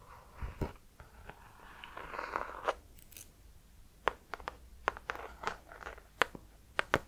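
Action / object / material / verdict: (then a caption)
tap / hardcover notebook with embossed cover / cardboard / none. A hardcover notebook with an embossed gold cover, held upright, is scratched and tapped by gold metal claw finger extensions. Soft scratching swishes in the first half give way to sharp, dry clicking taps that are quiet, bright and mid-pitched and stop instantly with almost no ring.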